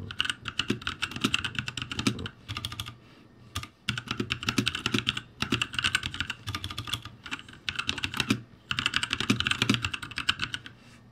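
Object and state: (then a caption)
Plastic mechanical keyboard. Fingertips type rapidly on a ROCCAT G65 full-size backlit mechanical keyboard with plastic keycaps on a metal-topped frame and hollow key switches. Bursts of quick, dry, bright clacks with a soft low thud under each keystroke are separated by brief pauses, and each click dies away almost instantly.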